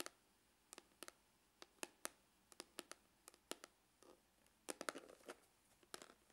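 Glitter-polished fingernails scratch and tap the lid of a dark, textured faux-leather hard glasses case, which is hollow. Around twenty sharp, dry, bright clicks and scrapes come through with almost no low end and die away instantly. Just after the midpoint there is a short burst of denser, rasping scratches.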